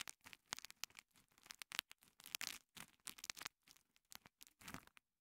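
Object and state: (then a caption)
Foam kitchen sponge. A small two-layer green and yellow foam kitchen sponge, held in fingers with long nails, is squeezed and rubbed against a microphone capsule. It makes a quick series of short, bright, crinkly crackles and scratchy rustles that are mostly high-pitched with almost no low end. Each burst cuts off almost instantly, with brief silences between them.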